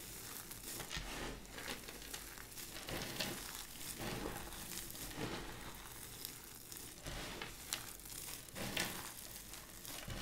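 Bare hands scoop, press and crush a large loose pile of dry, brittle purple and cream vintage soap flakes and chips on a white surface, rubbing the pieces together with fingers and palms. The result is a steady, bright, dry crackling and crunching, with louder sharp crinkles and snaps standing out now and then.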